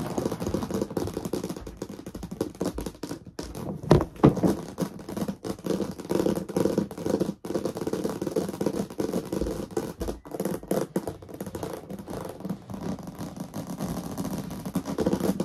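Long painted nails rapidly tap and scratch the lid of a medium, hollow, translucent plastic storage box with its lid on, resting on a fluffy rug. The result is a dense, irregular stream of dull clicks and scrapes, mostly low-mid in tone, with a few louder knocks around the four-second mark.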